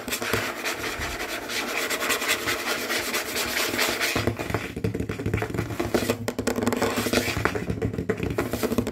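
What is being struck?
Wooden tabletop.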